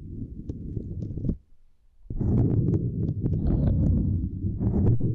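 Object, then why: Silicone grid mat. Two index fingers with long nails tap and scratch a small, flat purple silicone grid mat resting across a microphone. The sound is a dense run of muffled, low thumps and rubbing with occasional brighter clicks. It pauses briefly near the middle, then returns louder and busier until the end.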